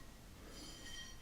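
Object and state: Nothing is struck.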